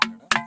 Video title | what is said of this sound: సప్త స్వరాలు పలికే రాళ్లు Vlog - ఇక్కడ ఒక హత్య కూడా జరిగిందంట -- హత్య అనవాలు ఉన్నాయి @RJPT_VENKEY | ఈ పాయింట్లలో కొడితే మాత్రము అదొక రకమైన ఒక సౌండ్ వస్తుంది సౌండ్ అయితే అదొక రకమైన సంగీతం లాగా వినిపిస్తుంది బాగా